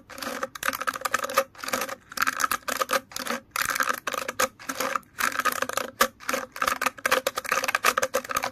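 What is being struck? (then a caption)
Plastic bristle hairbrush. Fingers scratch and flick through the many long, stiff plastic bristles of an orange plastic hairbrush. Quick bursts of dry, clicking rattle follow one another with short pauses between them, carrying a bright, papery texture over a tonal edge near 500 Hz and 1.2 kHz. Each flick stops almost instantly, with no lingering ring.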